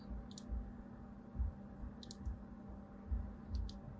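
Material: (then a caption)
Soap. A small blade carves parallel lines into the top of a solid white embossed bar of soap held in the palm. Five soft, dull cuts are heard, each with a brief bright crackle over a low steady hum.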